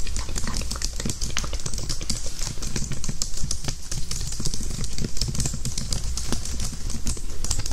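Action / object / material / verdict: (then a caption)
tap / plastic computer keyboard / plastic / none. A full-size white slim plastic keyboard with low-profile keys and a hollow housing, held flat in front of the microphone, is typed on with fingertips and nails. It produces a rapid, dense stream of light, crisp clicks and taps over a steady low hum.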